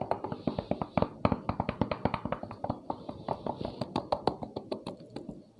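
Rapid knuckle knocks on the outside shell of a cheap daily-use motorcycle helmet, apparently a Zeus, while it is being worn. The short, dry taps come in a quick continuous series. Their loud, sharp tone suggests the shell is very thin.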